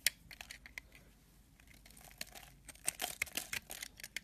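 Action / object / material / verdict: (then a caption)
scrape / bar of soap / soap / none. A metal blade scrapes the edge of a solid white soap bar held upright, letting crumbly shavings pile below. It makes quiet, bright, crisp scratching and crackling in irregular bursts, with sharp short clicks that stop instantly.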